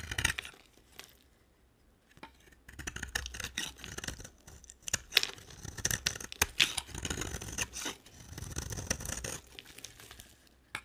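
A utility knife blade carves and scrapes a dry, solid purple marbled bar of soap into flaky shavings. Bursts of bright, crisp scraping and crackling come in uneven strokes, with a quiet pause near the two-second mark. The dry shavings crumble with a sharp, brittle texture.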